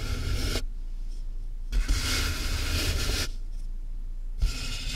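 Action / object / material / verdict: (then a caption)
scrape / corrugated cardboard box / cardboard / none. Fingertips and nails scratch and tap the top of a medium closed corrugated cardboard box with a microphone inside its hollow. Bursts of bright, dry scratching alternate with quieter pauses over a steady low hollow rumble, and a few soft thuds mark the taps.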